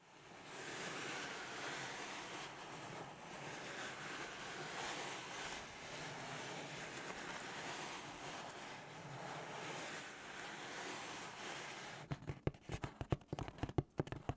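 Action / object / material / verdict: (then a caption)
tap / cardboard pizza box / cardboard / none. Fingertips rub and scratch across the surface and edges of a large, flat white cardboard pizza box held up at an angle in both hands, with a pie inside the hollow box. A steady, airy scraping hiss fills most of the clip, then breaks at the end into a quick run of sharp, hollow taps.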